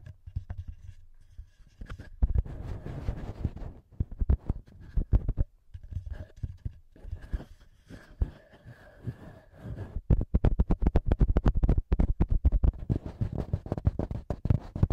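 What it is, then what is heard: Plastic handheld recorder tapped and scratched. Fingertips and short nails tap and scratch the plastic top and metal-ringed mic capsules of a small black plastic TASCAM handheld audio recorder. Quick, irregular taps and scratchy rubbing come through with a heavy low thump, dense bursts of fast tapping at the start and again toward the end.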